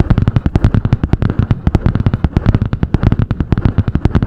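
Long painted nails rapidly tap and scratch a medium spiral-bound notebook with a butterfly-print cardboard hard cover. About thirty quick, dull, low thumps with faint crisp edges come in a steady rhythm, each dying away almost at once.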